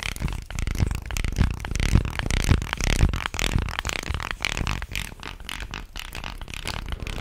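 A light, solid-wood ridged fish guiro is held upright and scraped along its grooved body with a stick or fingers, then held horizontally and rubbed. It makes a steady run of raspy, ratcheting strokes with a dull, low body and a dry, brushy upper edge. The strokes start out louder and more pronounced, then soften into a quieter, continuous rubbing texture.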